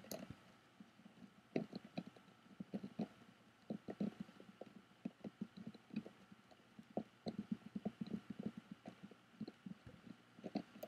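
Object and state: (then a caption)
Woven bamboo-covered box. Fingertips and nails tap and scratch on the lid of a medium rectangular, lidded box with a woven bamboo or rattan-look surface and a small metal clasp, which seems hollow and closed. Quiet, irregular, dry taps with a soft, hollow low-mid body die away almost instantly, interspersed with faint scratchy brushing across the weave throughout.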